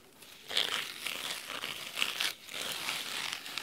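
Fingernails scratch the cloth spine and top edge of a large, thick, solid red fabric-covered hardcover book lying on a wooden table. The scratching is a dry, crisp, bright rasping with almost no low end, coming in uneven strokes with a brief pause near the middle before it resumes.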